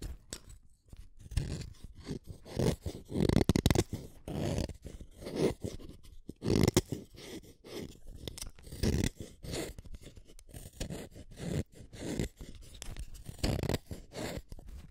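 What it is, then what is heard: Wooden colored pencil being sharpened. A pink wooden colored pencil, a small solid stick, is shaved one at a time by the metal blade of a yellow plastic hand sharpener. The result is a run of short, dry scraping cuts in uneven bursts, mostly low and dull with little brightness, each stopping dead with no ring.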